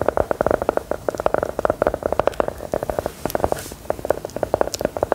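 A small, solid, brown round biscuit embossed with "LOVELY" is held in the hand and tapped and scratched with long gold metal filigree nail claws. A rapid, steady stream of short, dry clicks sits in the mid-range with almost no ring, and a brief scratchy hiss comes partway through.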